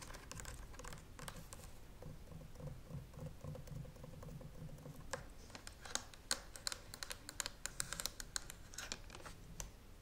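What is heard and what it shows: Long nails tap rapidly on the handle and side of a hollow green and white plastic clothes steam iron held upright beside the microphone. A dense stream of light, dry plastic ticks plays over a low, steady rumble, with sharper, louder clicks standing out in the second half.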